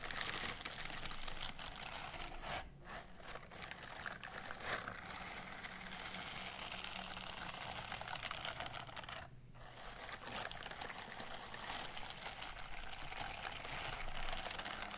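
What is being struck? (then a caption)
Silicone scrubbing glove with bristles. Long manicured nails scratch and tap along the bristled fingers and palm of a white silicone scrubbing glove held upright. The result is a steady, dense crackle of fine scratching and light tapping that stays bright, with brief quieter dips about a third and two-thirds of the way through.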